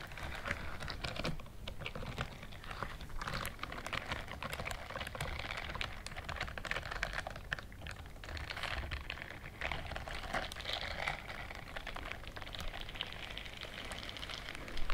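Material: Silicone.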